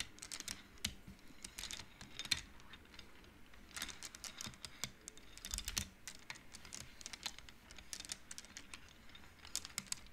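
Long nails and fingers slide painted wooden beads along the rods of an upright wooden-frame abacus, knocking them together. The result is quick, dry, bright clicks that come in irregular bursts and clusters, each dying away almost instantly over a faint low background.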